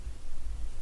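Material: Nothing is struck.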